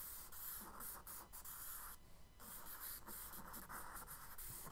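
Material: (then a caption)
Paper. A charcoal stick makes short, quick scratching strokes on a tan kraft paper page in a spiral sketchbook resting on a wooden desk, hatching the reflection under a boat. The bright, papery rasp comes in steady bursts with a low hum beneath it, and there is a brief quieter pause partway through.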